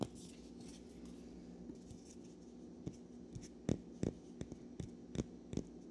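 A single small, solid natural cork wine stopper is held in both hands above a pile of corks while fingertips and nails rub and scratch its surface. A soft, steady, dry rustling runs under a low hum, broken in the second half by short, sharp scratchy ticks at an uneven pace.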